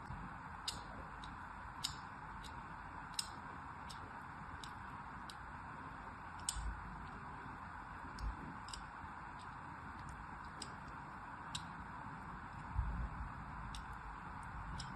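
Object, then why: Solid bar of soap. A thin craft blade scores diagonal grooves into the surface of a solid rectangular green soap bar held in one hand. Short, bright scratching cuts and ticks repeat at irregular intervals over a steady low, hissy background.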